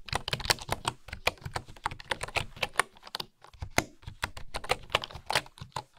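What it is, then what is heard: Bamboo keyboard typing. Fingertips and long nails type on a bamboo wooden keyboard with engraved wooden keys. A quick, uneven run of dry, short taps sounds, each bright with a slight hollow knock and almost no ring, with brief pauses near the middle.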